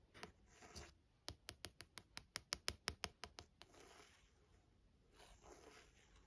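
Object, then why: Paperback book with thin card cover. Long nails scratch and tap the thin card front cover of a small paperback novel, 'For Love of Lily', lying on a desk. Soft, brushy scratching strokes open the clip, then a quick run of over a dozen crisp, bright taps with very short decay, before it returns to quieter scratching.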